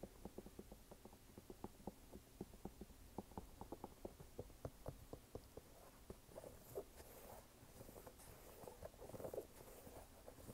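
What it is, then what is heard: Canvas sneaker tapped and scratched. An empty red canvas sneaker with a white rubber sidewall, held sideways, is tapped and scratched with fingertips on its canvas upper and rubber sidewall. Quick, soft, dull taps come in a steady patter with a low-mid thump. In the second half, they mix with faint, brighter scratching rasps.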